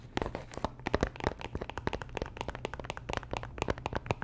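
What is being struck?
Cardboard box in plastic wrap.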